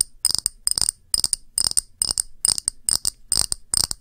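A round, thick, clear pressed-glass dish held upright is tapped with long nails in quick, irregular clusters of clicks. Each tap is a short, bright, high glassy tick that dies away almost instantly, with very little low end.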